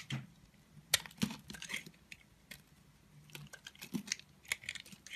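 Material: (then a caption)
Soap. A solid blue soap bar held in the hand is shaved and scraped with a red-handled utility knife blade, with chips piling up. Short, crisp scraping and cutting strokes come at an uneven pace, bright and dry with almost no ring, over a faint low murmur.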